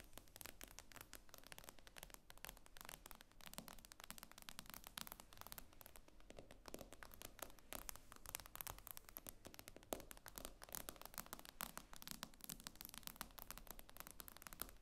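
Long nails tap rapidly on the glass screen of an iPad lying flat. It makes a quiet, continuous stream of sharp, bright clicks with almost no ring, steady for the whole clip.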